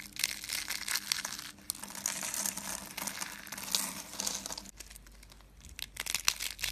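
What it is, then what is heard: Dry soap curls crushed. White dry soap curls are squeezed and crushed in a fist into fine flakes, making dense, dry, bright crackling and crinkling with almost no low end. The crunching runs steadily, dips softer for a moment near the five-second mark, then picks up again in sharper crackling bursts toward the end.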